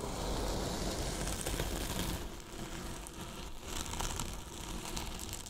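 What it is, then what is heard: Polyethylene foam box being brushed. Two paintbrushes brush and scratch the top and side of a large, hollow white polyethylene foam box with a microphone inside. The result is a dense, steady, crinkly scraping with a heavy low rumble and bright scratchy texture. It eases slightly after the first two seconds into lighter, airier strokes.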